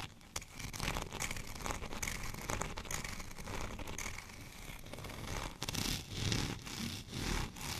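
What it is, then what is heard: Textured plastic rolling pin. Fingernails on both hands scratch the studded surface of a white textured plastic rolling pin lying horizontally. The result is a dense, continuous scratchy rustle with bright, gritty texture, rising and falling in short bursts of scraping strokes.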